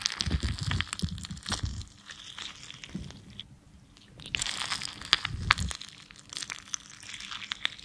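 A thin metal loop tool scrapes and digs into the tip of a small, solid red lipstick bullet of soft waxy cosmetic, carving off crumbly chunks. The result is a series of irregular, bright, crunchy scrapes and crinkles with low thumps, dipping briefly quiet midway before picking up again.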